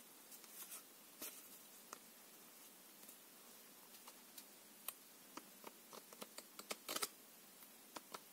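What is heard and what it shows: A full deck of coated paper playing cards, a small solid stack held in both hands, has its edges riffled and flicked by fingertips. Soft papery rustles give way to scattered sharp, bright ticks that stop instantly over a quiet, hissy background.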